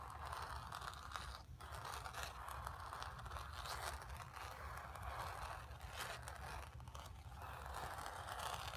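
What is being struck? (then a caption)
Painted stretched canvas. Long nails scratch the painted fabric of a stretched canvas, making a steady, dry rasping scratch for about nine seconds. The scraping sits mostly in the midrange with bright, hissy edges over a faint low rumble, with brief dips and surges as the strokes change.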